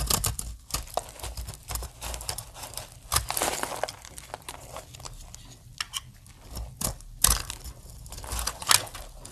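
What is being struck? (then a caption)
Soap bar. A blade cuts scored plates on a solid green dry soap bar, and fingertips break them off so flakes fall onto the table. The result is a run of dry, crisp snaps and crumbly crackles with bright, brittle edges and soft scraping between them.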